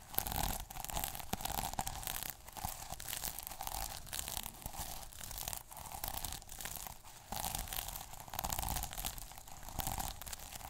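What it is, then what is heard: Plastic sequin notebook cover. A fingertip and short nail scratch the plastic sequins on the cover of a small sequin notebook. The result is a continuous, dense, crackling rasp with bright, crisp ticks and a steady mid-pitched hum underneath. Louder bursts come in waves rather than as separate strokes.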